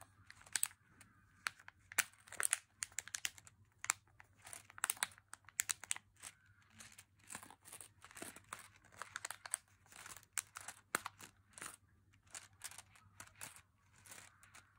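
A small, full, unopened M&M's milk chocolate pouch made of crinkly plastic film is held in the fingers and squeezed, rubbed and crinkled. Quiet, bright, crackling bursts of crinkling come in quick, uneven clusters throughout, with a faint steady low hum underneath.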